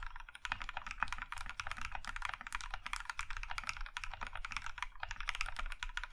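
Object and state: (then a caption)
Mechanical keyboard with plastic keycaps. Both hands type with their fingertips on a compact Iron 165 mechanical keyboard in a maroon metal case with cream plastic keycaps. A rapid, steady stream of short, crisp clacks, bright in the upper mids with quick decay, sits over a low, constant rumble.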